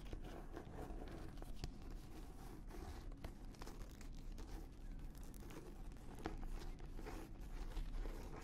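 An embossed red-brown leather notebook cover is held up close to a microphone and scratched and tapped with long nails and fingertips. It makes a dense, steady run of soft scratching and rustling with quick dull taps, heavy in low frequencies, at a quiet, even level throughout.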